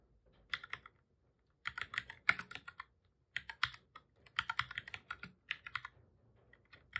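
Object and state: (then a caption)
Plastic computer keyboard being typed on. Fingertips of both hands type on a black full-size plastic computer keyboard, pressing the keys over and over. Quick, bright, clicky taps come in bursts separated by short pauses, each tap dying away almost instantly with very little low end.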